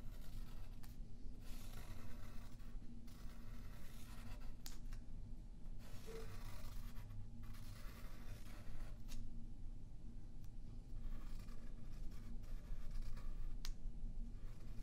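A yellow pencil draws curved lines on a thin white paper sheet lying flat on a wooden table, with a left hand holding the sheet. The graphite gives a soft, continuous scratching that swells into brighter strokes, over a steady low hum.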